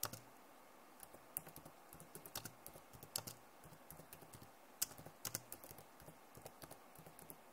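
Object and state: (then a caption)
Plastic laptop keyboard being typed on. Long nails and fingertips type on the keys of a backlit plastic laptop keyboard, making about 15 quiet, sharp, bright clicks that die away instantly. The taps come in an uneven run over a faint steady hiss.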